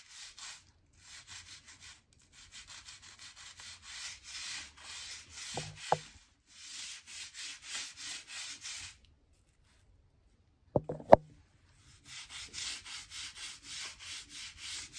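A stiff crevice brush is rubbed along the seams of solid oak floorboards, giving bursts of dry, hissy scrubbing strokes separated by short pauses. A few sharp knocks stand out near the middle and around eleven seconds, where the scrubbing stops briefly before resuming.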